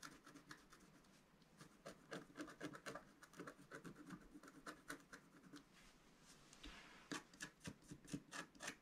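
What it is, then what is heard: Scratch-art paper being scratched. A pointed wooden stylus scratches near the bottom of a thin, black, wax-coated scratch-art paper sheet lying flat and solid on a table. A quick, uneven series of short, dry, rasping strokes comes through, with bright, gritty texture and little ring after each one. The scratching eases briefly in the middle before sharper, louder strokes return toward the end.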